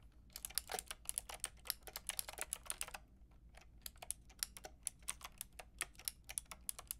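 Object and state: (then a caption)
Plastic mechanical keyboard being typed on. Long nails and fingertips type on a pink and white plastic mechanical keyboard with round plastic keycaps, making sharp, bright clacking keystrokes. A fast, dense run of typing pauses briefly at about three seconds, then continues as slower, more spaced-out clicks. A faint music tag sits low in the background.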